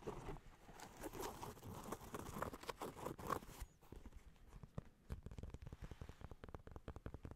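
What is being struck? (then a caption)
Rubber-soled sneaker. Fingertips and nails tap and scratch the treaded rubber sole of an empty sneaker with a lavender rubber outsole, held up close to the microphone. For the first few seconds there is dense, rough scratching; it then drops to a quieter stretch before giving way to rapid, dull, hollow taps with a low, thumpy character.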